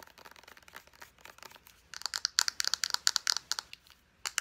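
Long painted nails quickly tap and scratch a white-and-red squeeze tube of Pacifica Island Vanilla lotion, made of hollow soft plastic with its round white cap end. Soft, dry ticking and scratching for the first two seconds gives way to a rapid run of louder, sharp, bright plastic clicks. There is a brief pause near the four-second mark before a few final taps.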